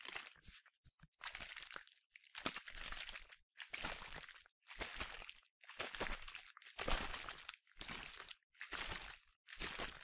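A medium yellow plastic sunscreen spray bottle, hollow with liquid inside, is shaken vigorously in one hand. It makes repeated bursts of bright, crunchy, crinkling noise, about one per second, with brief quiet gaps between them.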